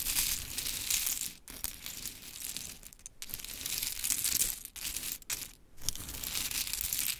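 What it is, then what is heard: Pile of small wooden clothespins. Long chrome nails scratch and tap among a scattered pile of pink wooden mini clothespins. The result is a dense, bright stream of crisp clicks, rattles and scraping with little low end. The texture continues for about seven seconds, broken by a few brief quiet gaps.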